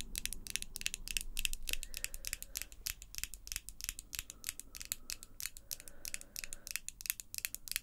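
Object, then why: Acrylic false nails. Long glossy pink acrylic coffin false nails on both hands are tapped and clicked against each other, small, solid, hard plastic meeting nail on nail with some scratching. The result is a quick, irregular stream of sharp, bright clicks with a faint ring near 2.6 kHz over a low, steady rumble.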